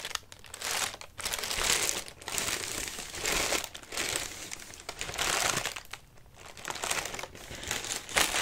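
Hands rub and press the crinkly paper of a large orange paper lantern with wire ribs, hollow and flattened, then hold it flat. The sound is a run of bright, dry crinkling in repeated swells separated by brief quieter gaps, with almost no low end.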